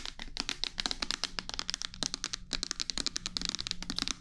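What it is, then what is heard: Plastic bottle tapped with nails. A clear plastic micellar water bottle with a pink cap, partly filled with liquid, is turned in the hands and tapped and scratched with long nails close to the microphone. A rapid stream of short, crisp, bright clicks and taps dies away almost instantly, over a faint low hum.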